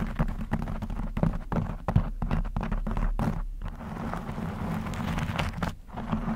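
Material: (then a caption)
Knit fabric. Long blue acrylic nails on both hands scratch a black textured knit fabric cover stretched over a rounded microphone head. The result is a steady, dense run of muffled, low scratching and thumping with quick, short-decaying scrapes and little high-end brightness.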